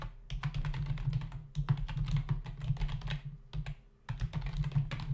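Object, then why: Plastic membrane computer keyboard. Fingertips of both hands type fast on a full-size black plastic membrane computer keyboard with hollow keys, resting on a desk. A dense run of short, hollow clicky key taps comes in bursts, with brief pauses near 1.5 and 4 seconds, over a steady low hum.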